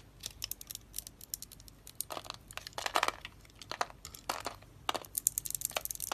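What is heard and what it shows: A utility knife blade scrapes and crunches small cubes off a solid, hand-sized pink and orange dry soap bar that is pre-scored in a grid and held in one hand. Rapid, dry, crisp crunches and scraping crackles come in irregular bursts, bright and hissy with almost no low end. Each snap cuts off instantly, with the densest, loudest crunching around the middle of the clip.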